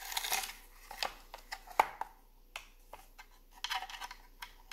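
Fingertips and long nails tap and scratch along the lid of a long, hollow wooden incense box with drilled holes, lying on a granite counter. Short, dry knocks alternate with bursts of bright, scratchy rasping, each sound dying away almost instantly with a light, hollow tone.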